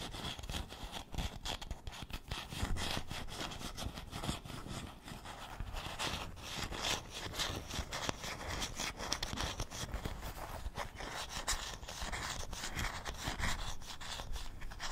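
The solid wooden back and handle of a wooden paddle hairbrush are rubbed and scratched with fingernails. The result is a steady, dense stream of quick, dry scratching strokes, with a low rubbing rumble under a bright, papery hiss.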